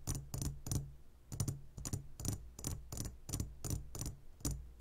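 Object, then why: Glass jar of candies. Fingertips tap rapidly on the sides of a clear glass jar full of gummy candies. Each tap gives a short, bright glassy click over a steady low hum, in an uneven quick rhythm.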